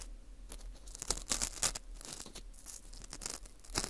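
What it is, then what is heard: Dried wheat gluten ring, dry and crumbly. A dry, porous ring of dried wheat gluten (fu), held in a gloved hand, is picked and scraped inside its crumbly interior with metal tweezers. The result is a run of quick, irregular, bright crackling scrapes and crunchy tearing sounds, with a few sharper louder bursts over a faint low hum.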